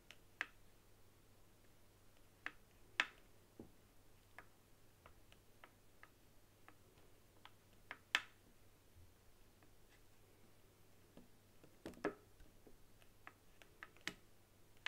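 Long nails tap and click on the top face and buttons of a white hollow plastic game controller resting on a table. Quiet, dry, bright clicks come at an irregular pace, some sharper and louder than others, with no ring after each one. A faint steady low hum runs underneath.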